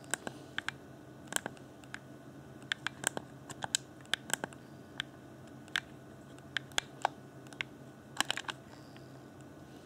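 Fingertips tap and click near the shoulder buttons and top shell of a hollow, transparent plastic Xbox One Afterglow game controller. About 27 sharp, dry, bright clicks come at irregular intervals, each dying away almost instantly over a faint steady background hiss.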